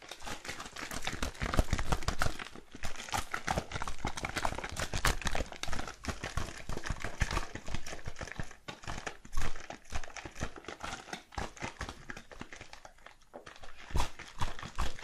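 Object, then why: Wooden tabletop. A hand taps and clicks very long, curved acrylic nail tips on a solid, light wooden tabletop. The result is a rapid, uneven stream of short, dry clicks and taps with no ring, combining soft low knocks and brighter clicking edges. Loudness rises and falls in bursts, with brief quieter gaps.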